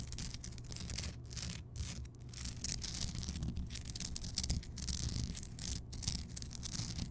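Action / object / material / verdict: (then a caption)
scrape / rock salt lamp / rock salt / none. Long fingernails scratch and tap the craggy surface of a large, solid, rough Himalayan rock salt block lamp that is lit. Dense, bright, bristly scratching comes in uneven bursts with brief quiet gaps, punctuated by short taps, over a steady low hum.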